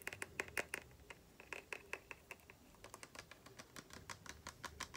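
A tall, clear cylindrical glass spray bottle with an orange label and a spray top, partly filled with liquid, is held sideways and tapped and scratched along its body with long painted fingernails. The result is a quiet, irregular run of quick, bright clicking taps with a faint glassy ring near 2.5 kHz that dies away almost instantly, mixed with soft scratchy rustles between them.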